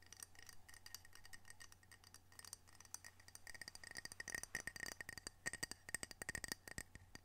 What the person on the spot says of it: Gentle tapping, scratching, and rubbing of ceramic coasters